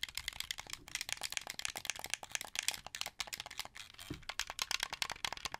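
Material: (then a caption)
Plastic. Fingers and nails tap and click the white buttons and face of a translucent blue, hollow plastic Xbox 360 controller turned toward the camera. Around 32 quick, dry plastic clicks and taps follow in an uneven run, bright and high with almost no low end and no ring after each hit.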